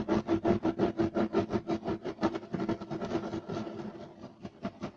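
Short nails on both hands scratch fast and aggressively across a solid, flat, beige striped woven loop-pile carpet. A quick, rhythmic run of rasping strokes comes at roughly three per second, with a low-mid texture. The strokes blur together and soften toward the end.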